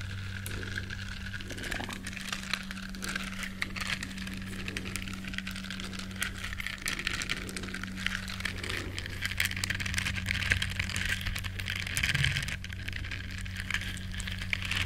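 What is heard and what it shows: Long nails scratch across the bristles of a small, flat, solid yellow silicone duck-shaped scrubber. The result is a dense, steady stream of fine crackling and crinkling scratches, bright in the upper range, over a constant low hum near 90 Hz. The loudness stays fairly even throughout.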